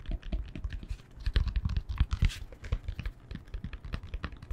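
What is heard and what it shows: A yoga block is tapped with the fingertips in quick, dense bursts of short, dull, low-pitched taps. Each tap dies away almost at once, with little ring.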